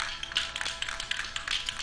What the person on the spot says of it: shake the can well you hear the BB bouncing around in there